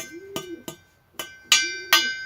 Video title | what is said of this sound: Comment décalaminer son pot d'échappement moteur 2 temps | un gros bruit métallique. Vous voyez? Ça résonne bien. Donc là-dedans, il n'y a pas de calamine.